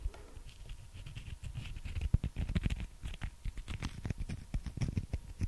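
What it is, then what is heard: Fried chicken nugget. A small, solid breaded fried chicken nugget is held in the fingers and tapped and scratched with long manicured nails close to the microphone. A dense patter of soft, low-heavy taps is heard, mixed with light bright scratching. The clicks are brief and dry, with no ring.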